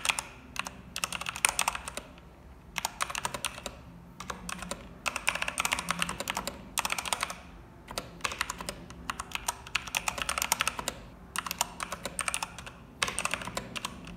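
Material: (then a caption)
Plastic. Long-nailed fingertips type continuously on a cream mechanical keyboard with plastic keycaps and a red escape key. Dense, bright, clacky key clicks come in rapid bursts separated by brief pauses, each press short and sharp with almost no ring.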